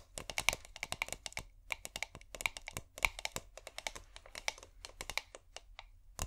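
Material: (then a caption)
Glass. A small clear corked glass bottle with fairy lights inside, held cork-up, is tapped and scratched with long painted nails. Quick, bright clicks and taps come in a steady, uneven stream, some with a faint glassy ring, over soft scratching and a low hum. The sound is close and crisp, and the taps die away almost at once.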